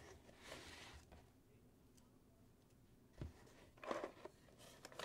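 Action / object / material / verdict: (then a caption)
tap / closed cardboard box / cardboard / none. A medium rectangular white cardboard box, hollow and closed and resting on a wooden table, is tapped and scratched with fingertips and nails across its lid and sides. Soft, airy scratching opens the clip, followed by a quiet stretch and then four short, dry taps.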